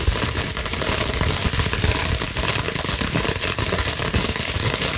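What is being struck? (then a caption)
Plastic bubble wrap sheet. A clear plastic bubble wrap sheet is quickly scratched with long nails and scrunched, producing a steady, dense crinkling and crackling that runs throughout. The sound is bright and crisp, with a low rumbling thump underneath and no clear pauses.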